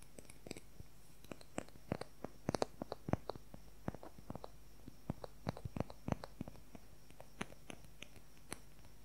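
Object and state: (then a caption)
Wooden colored pencil. A fingernail taps and scratches rapidly along the shaft of a long, thin wooden colored pencil. The result is a quiet, irregular run of short, dry clicks, some sharp and bright, over a low steady background hum.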